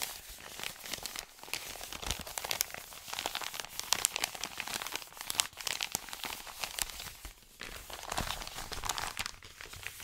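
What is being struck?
Kraft-paper padded mailer.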